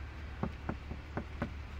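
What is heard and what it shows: Four knocks land on the armored door of a car armored to level IIIA, struck either on the door panel or on its bullet-resistant glass. Each knock is a short, dull, low-pitched thud that dies away almost at once over a steady low background hum. The knocks sound solid.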